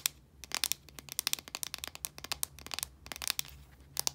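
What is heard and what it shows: Long nails scratch and tap the sides of a blue, translucent plastic deodorant stick container, a hollow casing with product inside. The result is a rapid, irregular stream of sharp, bright clicks and scratchy crackles over a faint steady low hum.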